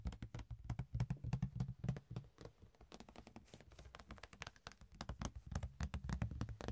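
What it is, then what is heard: Clear plastic box lid. A flat, rectangular, ribbed clear plastic box lid is held in the hands and tapped and scratched with the fingertips and nails. The result is a quick, irregular run of short, dull taps, mostly low thuds with bright clicky edges that die away almost instantly, interspersed with softer scratching.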